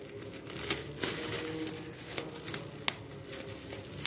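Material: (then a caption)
Plastic. Air-filled bubbles on a large clear plastic bubble wrap sheet are pinched and popped with fingertips while the sheet is crinkled. A steady, bright crinkling rustle runs throughout, broken by several sharp, short pops that snap out above it.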